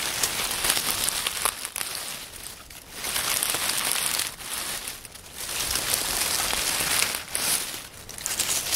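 Fingers crumple and rub a pile of dry, partly crushed oak leaves on a wooden table. A dense, bright crackling rustle comes in long swells that briefly ease off between handfuls, with almost no low end.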